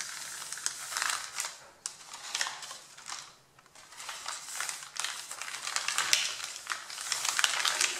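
Hands crumple and rub the top sheet of a stack of white printed printer paper with fingertips and nails. The result is crisp, bright crinkling and rustling in irregular bursts, with a brief quieter lull midway before the scratchy crinkles build again.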